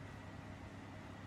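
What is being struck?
Nothing is struck.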